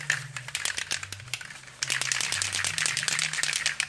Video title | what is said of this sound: Jaguar XK8 Rusty Sill Repair: Painting & Blending Sapphire Blue Metallic | You can hear the ball bearing. That's when you know the can is mixed properly, when you can hear the ball bearing going.